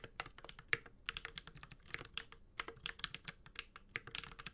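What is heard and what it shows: Continuous two-handed fingertip typing on a 65% mechanical keyboard with a metal case and ABS plastic keycaps. It produces a rapid stream of short, bright clicky taps with very little low end. Each keystroke dies away almost instantly.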